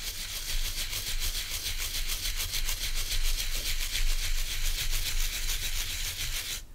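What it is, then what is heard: Wooden bristle body brush being scratched. Fingertips and nails scratch and rub across the stiff natural bristles of a hand-sized oval wooden body brush held in one hand. The result is a continuous, rhythmic bright scratching hiss over a low rumble, lasting the whole clip and stopping abruptly at the end.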